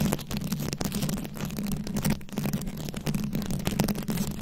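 Long acrylic nails scratch and tap across a fist-sized microphone head fully covered in small glued-on rhinestones and beads. The result is a dense, continuous stream of crisp scratches and quick clicky taps over a steady low hum.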